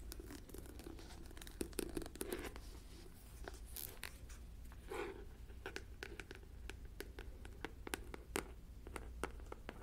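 Long nails tap and scratch the top and rim of the white lid on a clear plastic jar full of white granules, and twist the lid. Sharp, crisp clicks scatter between soft scratchy rasps and brief grinding twists, all quiet over a steady low hum.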